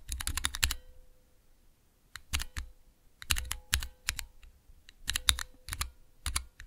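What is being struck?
Plastic mechanical keyboard switches and keycaps.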